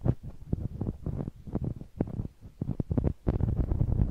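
A large, hollow, blue knobbly rubber massage ball is held in one hand while its bumpy surface is rubbed and scratched against a small handheld microphone. This produces a rapid run of deep, muffled thumps and scrapes with almost no high end. The short bursts die away quickly, giving a close, rumbling texture.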